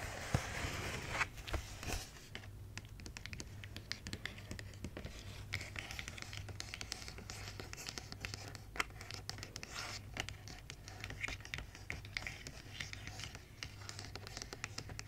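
Long red nails scratch and tap on a large, flat, printed cardboard advent calendar box with an angel design, held upright. Dense, dry scratching mixes with many sharp, bright clicks throughout. A steady low hum runs underneath.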